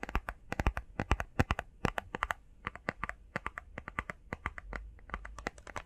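Fingernails rapidly tap and scratch on a small, hollow, printed cardboard face mask box with Sonic artwork on one side. About forty quick, dry, irregular taps each carry a hollow low thump and a bright click that dies almost instantly. Soft scratching fills the gaps between them.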